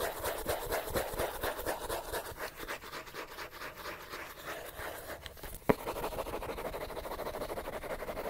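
Fingernails scratch quickly across the page edges and cover of a solid paper paperback book. The result is a steady, fast run of dry, raspy strokes with bright papery texture, plus one sharp click partway through before the scratching continues.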